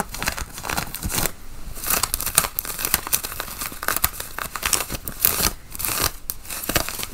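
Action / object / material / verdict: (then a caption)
scrape / cotton flannel shirt / cotton / none. Long nails scratch across the chest pockets and button placket of a worn, dark grey button-up cotton flannel shirt. The result is a dense run of dry, bright, raspy scrapes and crinkly strokes that rise and fall in bursts, with no ring after each stroke.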